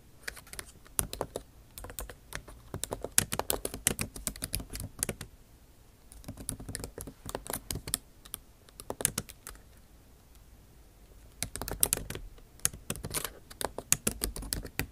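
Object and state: Laptop keyboard with plastic keys.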